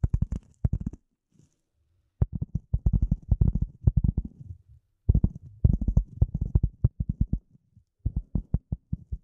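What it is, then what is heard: Polyethylene foam sheet. A rectangular gray polyethylene foam sheet, held close over the microphone, is scratched and tapped with the long nails of both hands. Rapid bursts of deep, muffled thuds come in clusters separated by short pauses, each tap dying away almost instantly. A faint high scratchy hiss sits above the heavy low-end thumping.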